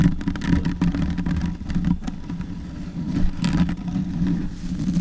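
Long white nails scratch and rub a soft, porous black foam windscreen on a silver Yeti microphone with both hands. The result is a dense, low, muffled rumbling scratch with a steady low hum underneath and brief brighter scraping bursts throughout.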